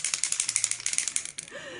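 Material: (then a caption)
Metal. An aerosol spray foundation can is shaken so the mixing ball inside rattles against the metal, giving a rapid series of sharp, bright clicks. The rattling stops abruptly and leaves a faint, steady hiss.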